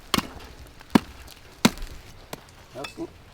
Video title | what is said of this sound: Achieving Alchemy with Thermite! | That sounds like metal to me.